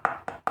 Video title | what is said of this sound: जुगाड लगाओ पैसे 💰बचाओ।11 No Cost Organizers from waste - Home & kitchen organization tips and ideas | ये अच्छे तरीके से सूख चुका है। आप इसकी आवाज़ सुनिए, है ना, एकदम लकड़ी जैसी आवाज़ आ रही है